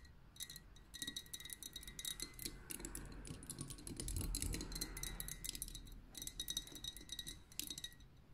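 Long painted nails and fingertips tap quickly all around the glass body of a tall, liquid-filled lava lamp with a metal base and cap, lit pink. The fast, irregular taps are bright, glassy clicks with a short chime-like ring, heard over a soft low rumble that swells briefly midway.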